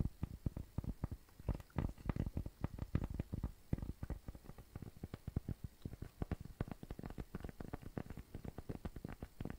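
Fingertips and nails rapidly tap and scratch a round, flat, tan cork coaster that is thin and solid. The result is a dense, irregular patter of short, dull, low taps with almost no ring, mixed with soft scratching, all at a quiet level.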